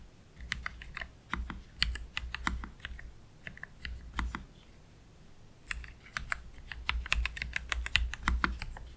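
Slow fingertip typing with both hands on a black Keychron K3 Pro low-profile mechanical keyboard with Gateron Red low-profile switches and plastic keycaps, resting on a desk mat. Short, bright, clicky keystrokes come in uneven bursts, each with a soft low thud, and there is a brief quiet pause in the middle.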